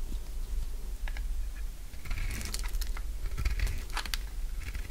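A utility knife blade shaves thick curls from a solid, dry orange bar of soap held in the palm. Short, bright, crisp scraping and crunching cuts come in quick bursts over a steady low hum.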